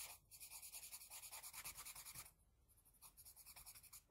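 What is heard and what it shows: A wooden HB pencil's graphite tip makes quick, dense scratching strokes on the eye area of a flat white drawing sheet. The strokes come in a fast, uneven rhythm of bright, hissy scrapes, easing into softer, lighter strokes briefly past the midpoint before picking up again.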